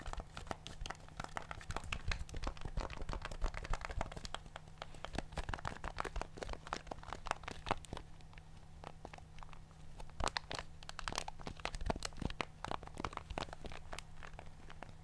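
A handheld black plastic TV remote with solid rubber buttons is held in one hand while fingertips press and tap the buttons. Rapid, dry clicky taps come in a dense, uneven stream for the whole clip, each one short and sharp with almost no ring. A steady low hum sits underneath throughout.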